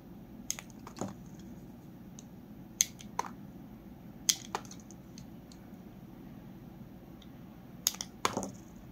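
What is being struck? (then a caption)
Bar soap cut with a metal blade. A metal utility blade shaves thin slivers off a solid peach Palmolive bar soap held in the hand, with the paper soap box held behind it. Short, bright scraping clicks come in uneven bursts over a quiet background, each dying away almost at once.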